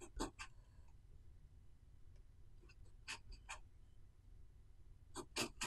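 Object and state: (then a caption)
Pen nib writing on a paper notebook page. A metal pen nib scratches across a thin paper notebook page covered in handwritten characters. Short, bright, scratchy strokes come in clusters at the start, middle and end, separated by quiet pauses over a faint low hum.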